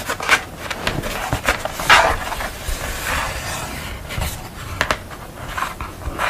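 Long fingernails scratch and rub across the paint of a purple painted portrait on paper board lying flat, making a run of dry, crisp scraping strokes with bright rasping texture. Sharper scratches stand out between softer rubbing passes, each fading quickly.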